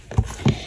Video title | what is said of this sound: Kahoy na Bonito fish Bar ikaen ko | kapag pinukpok nyo siya na matining na yung kanyang tunog